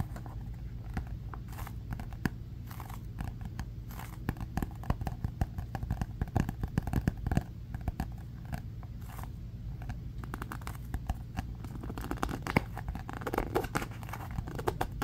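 A closed marbled composition notebook with cardboard covers is held in both hands while fingertips and nails grip, tap and scratch the cover. Dense, dry crackles and short scratchy ticks sit over a steady low hum, with brief sharper taps scattered throughout.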